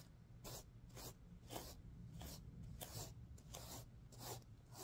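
A hand sweeps across a stuffed sequin pillow while nails scratch its plastic sequins, making repeated bright, hissing swishes at an uneven rhythm. A steady low hum runs underneath throughout.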